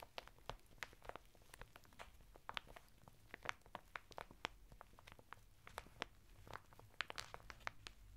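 Fingertips scratch and rub the textured surface of a flat bath mitt of coarse woven natural fibre, sealed in a thin printed plastic packet and lying sideways on a table. The result is a quiet stream of dry, crinkly scratches and sharp, bright ticks that stop instantly, over a faint steady low hum.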